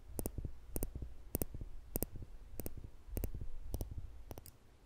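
Small, slender steel tweezers are held in the fingertips above a microphone while their solid metal tips are clicked together over and over. The result is a steady run of sharp, bright clicks, mostly in quick pairs, each followed by softer, duller taps over a low, rumbling background.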